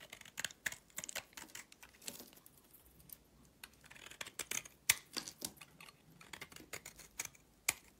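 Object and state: Soap bar being shaved.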